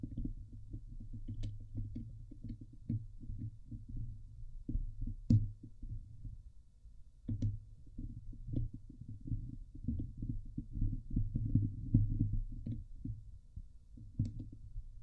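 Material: Steel mesh.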